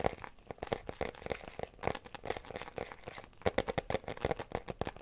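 Fingertips and nails scratch and tap the inside surface of an empty, clear glitter plastic phone case held up from behind. Quick, sharp plastic clicks and taps come in an irregular run over a faint crinkly scratching, each one dying away almost at once.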